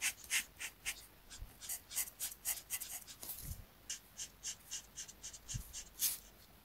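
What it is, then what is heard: Paper sheet being coloured with a marker. A marker tip is rubbed back and forth in dense coloring strokes across a thin paper coloring sheet lying on a mat. The result is a quick, uneven run of soft, bright scratchy swishes, heard mostly in the high range, with a few faint low thumps underneath.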